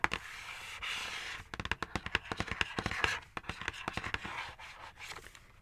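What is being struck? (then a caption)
Printed cardboard box tapped with fingernails. Long acrylic nails scratch and tap the front panel of a dark printed cardboard knife set box held upright. A soft papery scratching hiss gives way to a quick run of sharp, dry taps with a bright, hollow click, followed by more light scratching.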